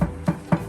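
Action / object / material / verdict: knock / car trunk sheet-metal panel / sheet metal / dead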